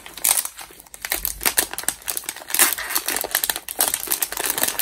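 A small, partly filled metallized plastic Cheetos bag is held in both hands and crinkled and squeezed with the fingers. It makes dense, bright crackling bursts that come in uneven waves, with almost no low end and very short decay.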